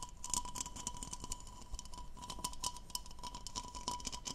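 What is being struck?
Textured plastic goblet.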